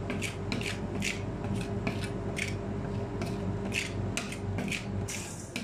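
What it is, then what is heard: Stainless steel ice cream cold plate being scraped. A gloved hand scrapes and spreads a thin layer of chocolate ice cream base across a large, round, solid stainless steel ice cream roll cold plate with a metal spatula. Quick, bright scraping strokes and rhythmic tapping run over a steady low hum.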